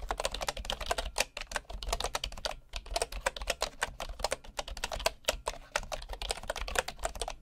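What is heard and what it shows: Fingertips of a right hand type steadily on the wooden keys of a bamboo keyboard, seen close up from a low side angle. Quick, short taps sound crisp and woody with a bright edge, over a faint steady low hum beneath the typing.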